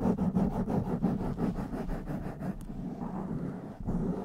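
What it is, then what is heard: Foam microphone windscreen. Fingertips and long nails of both hands cup, rapidly tap and rub a blue foam windscreen on a black microphone. The result is a close, muffled stream of dull, low thumps and brushing scratches, about three per second at first, that settles into steadier rubbing near the end.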